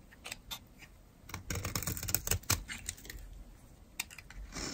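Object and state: Dry bar soap being carved.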